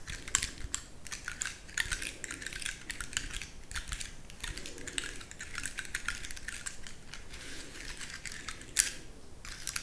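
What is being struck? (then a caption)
Pine cone scales. A large, dry, brown pine cone with woody scales is held in the fingers while long nails scratch and crunch over its scales. The sound is a dense, steady run of quick, dry, bright clicks and crackles with very short decay and no pause, broken near the end by one sharper snap.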